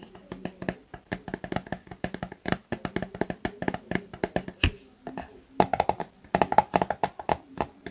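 A small, soft, apparently filled Garnier plastic face-wash tube is held in both hands and tapped and scratched with fingertips and short nails. The result is a quick, irregular run of dry, short clicks and taps with faint scratchy rustle between them, and the taps die away almost instantly.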